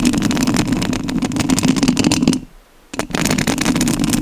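Long nails scratch the rounded metal mesh grille of a rhinestone-covered studio microphone, making a dense, rasping scrape with bright crackle over a steady low-mid rumble. The scratching pauses into near silence for about half a second midway, then resumes just as loud until the end.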